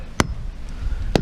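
A dead standing hickory tree trunk is thumped twice before felling, giving two short, sharp knocks with deep, low body and almost no ring. It sounds solid: rot and insect damage were mostly confined to the sapwood.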